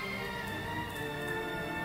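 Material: Nothing is struck.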